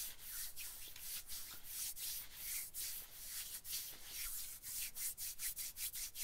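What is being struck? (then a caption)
Nylon jacket fabric. Fingers and nails scratch and rub the nylon shoulder and upper arm of an olive-green nylon bomber jacket. The result is a steady, bright, hissing rustle broken into repeated scratching strokes that come quicker and sharper toward the end.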